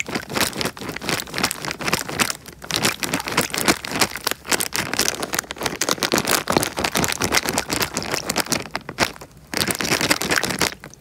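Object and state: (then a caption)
Plastic bag filled with water. A small clear plastic bag filled with water is held in front of a microphone and squeezed and crinkled by the fingertips while the water sloshes inside. Dense, bright crackling and crinkling runs almost continuously, with a short quieter dip before it resumes at full level.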